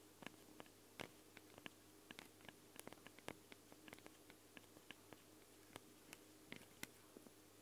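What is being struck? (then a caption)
Metal and plastic microphone capsules. Long blue nails tap and scratch directly on the two small, hollow X-Y microphone capsules of a Tascam handheld recorder, which have ridged metal grilles, red rings and a black plastic body. Sharp, dry clicks with bright tops land irregularly over a steady low hum and soft hiss, each dying away instantly.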